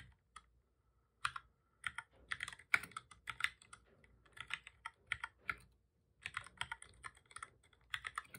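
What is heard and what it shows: Both hands type steadily with their fingertips on a full-size black plastic computer keyboard with a hollow body, resting on a desk. Quick bursts of short, bright clicking key taps come in uneven clusters, with brief pauses between runs. The taps are quiet and crisp, with almost no low-end thump.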